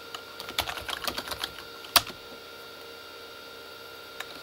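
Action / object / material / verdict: tap / plastic computer keyboard / plastic / none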